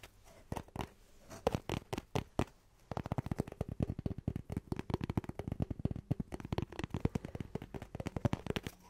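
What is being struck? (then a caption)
Cardboard tube. A cardboard tube is tapped and scratched in quick, dry, scurrying strokes. The first few seconds are sparse, spaced taps, then from about three seconds a dense run of rapid, low, hollow-sounding taps and scrapes follows.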